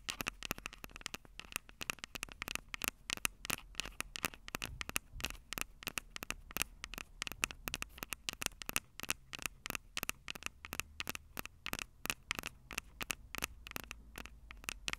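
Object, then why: Metal mesh microphone capsules on a handheld recorder. Long purple acrylic nails tap and scratch the two small crossed metal mesh microphone capsules on the hollow plastic body of a Tascam DR-05 handheld recorder. The result is a fast, steady stream of sharp, close clicks with a bright metallic tick around 2.6 kHz and scratchy rustle between them, with very little low end.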